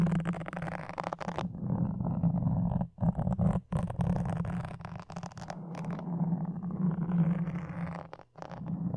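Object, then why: Foam microphone windscreen and wooden toothpicks. A red-and-black soft, porous foam windscreen on a red microphone is scratched and poked with a thin wooden toothpick held in each hand, the tips dragging across the foam directly at the capsule over the hollow mic head. The result is a close, continuous run of dense, muffled scratching and rustling, heavy in the low end with a steady low hum, broken by a few brief near-silent gaps.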